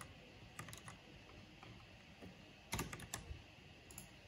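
One hand with long nails slowly presses keys with the fingertips on a backlit mechanical keyboard with black plastic keycaps. The result is a scattered run of soft, bright clicks with a low thock beneath them, quiet against a faint steady background, with a tighter cluster of presses near the middle.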